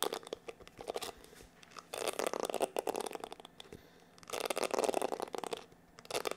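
Fingertips scratch and flick across the dense plastic bristles of a black plastic paddle hair brush. Dense bursts of bright, crackly clicking and scraping come and go with quiet gaps between them, swelling loudest in two longer runs before fading back.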